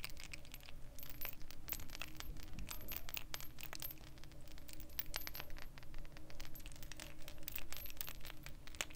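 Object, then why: Glass perfume bottle. Long painted fingernails tap rapidly on the glass body of a round, hand-sized purple glass perfume bottle with a gold metal cap, hollow and appearing to hold liquid, as it is held in the hands. The result is a dense, continuous stream of short, bright clicks and clinks that die away almost instantly, over a steady low background hum.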